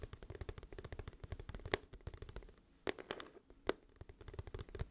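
Long fingernails tap and scratch a glossy, hollow, flat cardboard music album case held upright. Around thirty quick, dry taps ring out with a hollow, low-weighted body and short bright clicks. A few sharper, louder taps stand out, and a brief quieter scratching stretch comes before the tapping resumes.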